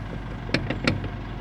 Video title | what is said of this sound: pemasangan gear motor swing excavator | kalau yang ini longgarnya banyak. Longgarnya.